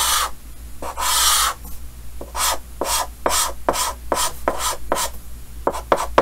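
Yellow chalk held in the fingers makes rapid scratching hatch strokes across a large, flat, solid painted chalkboard with a green frame. About ten short, bright, raspy scrapes follow one another, with a longer sustained scrape near the start and a steady low hum underneath.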